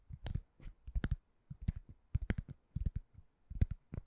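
Short-nailed fingertips scratch and tap a white, ring-shaped door stopper that looks like solid foam or rubber. The result is a quiet, dry string of soft, low thuds and scuffs, some with brief bright ticks, each dying away almost instantly.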